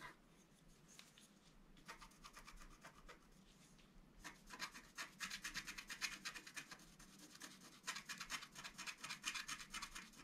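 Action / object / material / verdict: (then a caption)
scrape / black-coated scratch art card scraped with a wooden stylus / coated card / none. A wooden stylus scratches the coating of a flat, black-coated scratch art card resting on a table, first along the bottom edge and then in the wing area. Quiet, dry, bright scratching strokes come in quick, uneven rasps. They grow louder and denser partway through as the scratching moves into the wing area.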